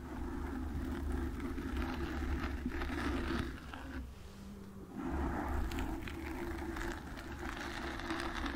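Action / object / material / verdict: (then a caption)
scrape / foam microphone windscreen / foam / none. Long nails scratch the front and sides of a black foam windscreen on a desk microphone, making a dense, rumbling, crackly scrape with a strong low boom. The scratching briefly eases to a quieter hum near the middle, then resumes just as full.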